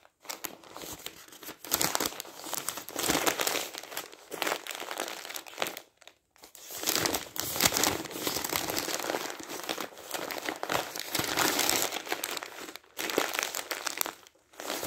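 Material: Paper.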